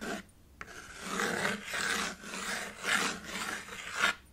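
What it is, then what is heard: Chalk scraped on a slate chalkboard. A white chalk stick is scraped and drawn across a small black chalkboard with a red wooden frame lying flat. Brief chalk rasps and a sharp tick give way to longer, swelling scraping strokes with a gritty, bright hiss and a squeaky tone around 1.4 kHz.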